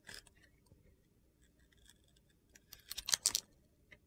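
A metal utility knife blade carves and scrapes thin slices off the edge of a solid, hand-sized red bar of soap with gold glitter and star sequins, held in one hand, exposing yellow soap underneath. Soft, bright crunching scrapes open the clip, then after a quiet stretch a quick run of sharp, gritty cuts comes near the end. A last faint click closes it.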